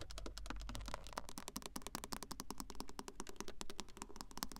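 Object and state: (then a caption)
Car touchscreen tapped with nails. Long acrylic nail tips tap and sweep across the flat, glossy touchscreen of a car radio unit in the dashboard. A rapid, continuous run of sharp, dry clicks and light scratches, like fast typing, sits over a low steady rumble.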